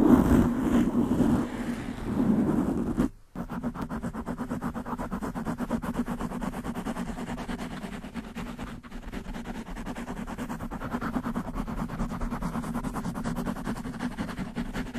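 Long manicured nails rapidly scratch a black foam windscreen on a desktop microphone. The result is a dense, steady rustling buzz with a low-mid hum around 250 Hz. A louder, rougher opening is followed by a brief drop near 3 seconds, then the scratching runs on evenly to the end.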